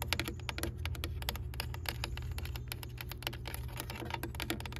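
Long pale nails and fingertips tap and scratch the ridged bend section of a hollow, empty, white ribbed aluminum rain gutter downspout, about arm length, lying on grass. Rapid, dry, bright clicks and short scratches follow one another with almost no ring. A steady low hum runs underneath throughout.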